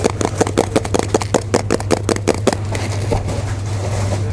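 A full pink Pringles chips can, a composite cardboard tube with a metal base, is held close and tapped or scratched with fingertips and nails. A quick, uneven run of crisp hollow taps with a mid-pitched knock fades after about two and a half seconds into softer, continuous scratching over a steady low hum.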